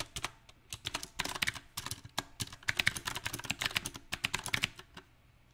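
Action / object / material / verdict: tap / mechanical keyboard with round plastic keycaps on a metal plate / plastic / none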